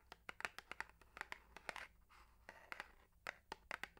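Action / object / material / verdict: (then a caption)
tap / narrow cardboard box / cardboard / none. A hollow, long, narrow printed cardboard box holding a bamboo toothbrush is held in one hand and tapped and scratched with long manicured nails. A quick series of sharp, dry, bright clicks and taps comes with brief, soft, raspy scratching in between, each hit dying away at once.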